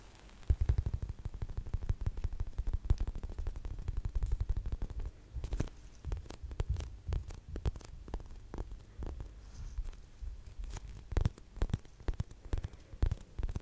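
Long acrylic nails tap rapidly on a large gradient polyurethane foam unicorn squishy toy made of solid soft foam, close to the microphone. The result is a dense stream of soft, muffled, low thuds with a thumping, throbbing character and almost no high-frequency content.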